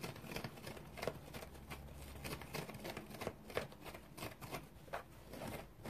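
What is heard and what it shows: Fingernails scratch a large, round, dry yellow synthetic foam sponge, shaped like a sea sponge with big open pores, as it lies on a towel. Quiet, dry, crackly scratching comes in short, irregular bursts across a broad range into the highs. A faint, steady low hum sits underneath.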